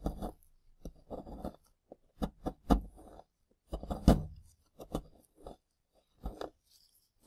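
Gloved fingertips and a tool break up and scrape crumbly chunks of a solid plaster dig block lying next to plastic ribs. Irregular bursts of dry crunching and gritty scraping come in short clusters with brief pauses. Each burst is quick and dull with a low, heavy body, a bright crackly edge, and almost no ring.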